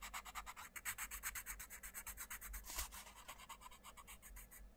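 A wooden coloured pencil scratches and rubs across a thin paper page of an open paperback colouring book lying on a wooden table, colouring in a butterfly while the other hand holds the page flat. Quick, steady back-and-forth strokes make a dry, bright, papery hiss with a soft low rumble underneath.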